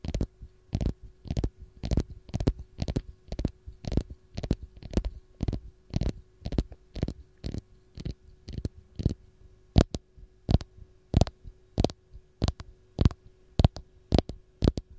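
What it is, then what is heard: Fresh lemon. Long gold nails scratch and tap the dimpled peel of a single whole raw lemon. A steady, evenly spaced series of short, dull, low-pitched taps plays over a faint constant hum. Each tap dies away almost instantly.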